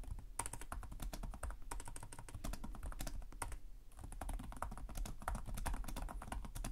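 Both hands type continuously with fingertips on the plastic chiclet keys of a black laptop keyboard. Rapid, dry, clicky taps with a soft low thump and bright key clatter die away almost instantly, with a brief lull just before the four-second mark before the typing picks up again.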